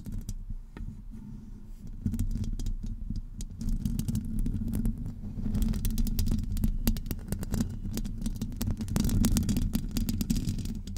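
Long acrylic nail tips scratch a hollow metal wire-mesh microphone grille, with both hands gripping it from the top. The result is a dense, irregular stream of rapid scratches and faint clicks over a heavy low, boomy rumble centered around 200 Hz. It starts softer and grows louder and busier after about two seconds.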